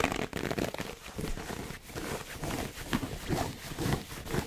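A red, hollow, heart-shaped gift box covered in pleated satin fabric with a gem in the center is held in both hands close to the mic. Fingertips and nails scratch and rub along the pleats. The result is a dense, crackly fabric scraping with soft low thumps and a few brighter scratches.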